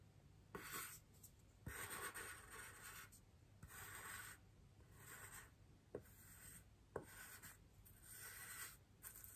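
A large white solid styrofoam wreath ring, held by hand, is gently brushed with the bristles of a small paintbrush. Soft, airy swishing strokes come in repeated bursts over a quiet background, some starting with a light tick as the bristles meet the foam.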